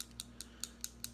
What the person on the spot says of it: You'll hear the ball, so just shake it really, really good